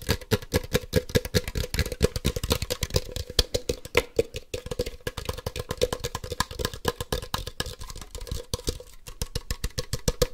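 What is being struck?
Hollow plastic toy ball.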